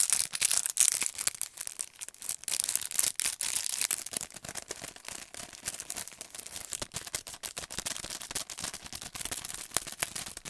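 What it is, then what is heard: Paint brush set in cardboard and plastic blister pack. A long, thin retail pack of paint brushes, with a printed cardboard backing and a clear plastic blister, is held in both hands and tapped and scratched with the fingernails. Fast, dense clicks and scratchy crinkles are bright and high, with almost no low end. Each sound is short and dry, and the rapid activity runs steadily throughout.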